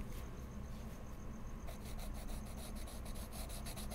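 A wood-cased colored pencil point is rubbed and scratched across a large, flat sheet of heavy mixed media paper in a sketchbook with solid backing, in short coloring strokes. Quiet, dry, scratchy rasping repeats steadily over a low rumble, with a faint high tone in the first part. The bright strokes become more pronounced and rhythmic in the second half.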